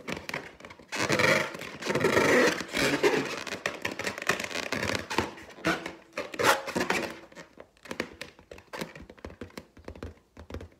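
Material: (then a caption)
Latex. Long teal nails tap and scrape along the side of a large, hollow, inflated clear latex balloon printed with gold pineapples. Dense, bright scratching swells rise over the first half, then give way to quick, dry taps and short scrapes that die away almost instantly.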